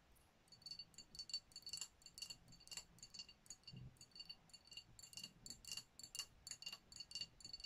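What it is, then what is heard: Glass champagne bottle. Long nails tap and scratch the glass body of a dark glass sparkling wine bottle with a foil-wrapped neck, which appears full and sealed. It makes quiet, bright, clicky ticks and scratchy rasps in an uneven rapid rhythm, each tap dying away almost at once with a faint glassy ring.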